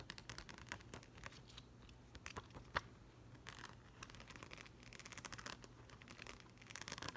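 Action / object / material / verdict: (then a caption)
tap / plastic gem sticker sheet / plastic / none. A yellow plastic rhinestone gem sticker sheet is held in both hands while short green nails tap and rake quickly over the gems. The result is a rapid run of sharp, clicky, keyboard-like taps mixed with brief scratchy rakes, with one louder click near the middle.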